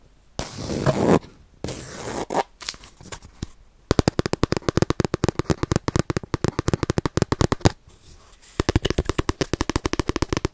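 A round, palm-sized Japanese baren, a printmaking rubbing pad made as a flat disc with a ridged woven bamboo-sheath surface, is held in both hands close to the mic while fingertips and palms rub and scratch across its textured face. Two breathy rubbing swishes give way to rapid, dry, crackling scratch-clicks in quick succession, with a short pause before another fast burst. The close, low-heavy clicks end abruptly with almost no ring.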